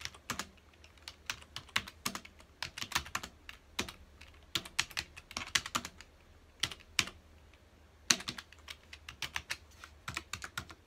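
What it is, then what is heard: Plastic computer keyboard being typed on. Fingertips of both hands type on a full-size black plastic computer keyboard with hollow key housings, resting on a dark desk. Quick, bright, clacky keystrokes come in irregular bursts with brief pauses, each click dying away almost instantly over a faint low hum.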